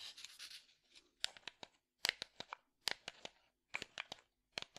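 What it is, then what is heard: Small hollow wooden box. A small, hollow, light-wood box held in one hand is scratched and tapped with the fingertips. It starts with a second of soft, bright scratching, then four quick clusters of sharp, dry taps that stop dead with no ring, separated by brief silences.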